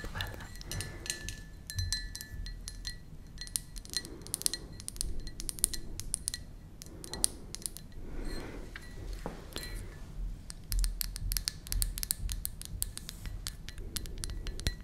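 Long nails tap the outer wall of a hollow, empty white ceramic mug with a blue flower pattern. The result is a rapid, irregular stream of sharp, bright clicks and clinks that die away almost at once, over a soft low rumble.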